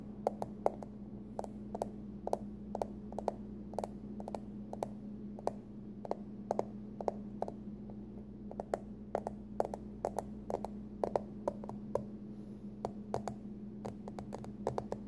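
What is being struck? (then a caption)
Small aluminum hard-shell card wallet. Long acrylic nails tap and scratch the front face of a small, glossy, hard-shell aluminum accordion card-case wallet with a Halloween pumpkin print, held closed and hollow in both hands. A quick, uneven series of sharp, dry clicks with bright, hollow ticks rises over a steady low hum. Each tap dies away almost instantly.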